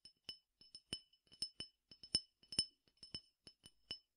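A clear glass tumbler partly filled with peppercorns, small dry grains, is held in the hand and tapped with the fingertips. It gives a quick, irregular series of bright, high glassy clinks. Each clink is short and dies away almost at once, with a faint rattle from the grains.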